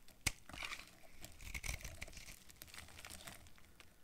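A utility knife blade carves brittle yellow flakes from a hand-sized, solid yellow bar of dry soap with a dark coating, held in one hand. Quiet, dry, crinkly scraping and crackling runs throughout, with a sharp snap near the start and bright, crisp bursts as the flakes break away.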